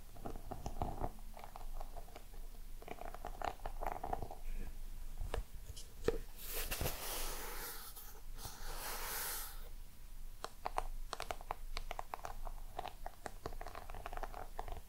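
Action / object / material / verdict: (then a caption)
tap / small round embossed box / unknown / none. Long nails tap and scratch the lid and sides of a small round black crocodile-embossed box. Quick, soft, dry clicks with a faint hollow ring sit over low rumble, and a stretch of bright, hissy scratching runs through the middle before the light tapping resumes.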